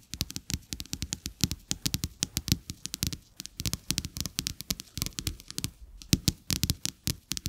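Fingertips and nails of both hands tap two thin, flat coated-paper playing cards with a checked back lying on a carpet. The result is a quick, uneven run of dozens of short, dry taps and clicks with a soft low thump under a bright, crisp edge, each dying away almost instantly.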